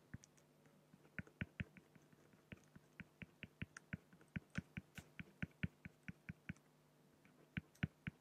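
A fine-tip pen held in the fingers scratches across a large, flat, solid, clear acrylic sheet on a white background while hatching a raven drawing. Roughly thirty short, dry, clicking ticks come in quick, uneven bursts, each dying away almost instantly over a quiet, steady low hum.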